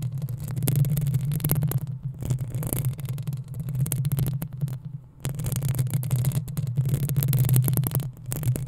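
Long acrylic nails scratch and tap the sides of the metal mesh grille on a black desktop USB condenser microphone. The sound is a dense, rapid stream of close scratching and tapping with a heavy low hum, pausing briefly around the two- and five-second marks before continuing.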